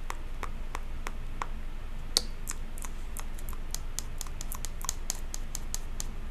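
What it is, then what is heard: Plastic tub filled with cotton candy. Long pink acrylic nails tap and scratch the side wall of a medium clear plastic tub with a printed label and lid, full of pink cotton candy and held near the face. Short, sharp, bright clicks arrive at an uneven pace of about three per second and die away instantly, sounding dull rather than hollow because the tub is full. A low, steady rumble sits underneath throughout.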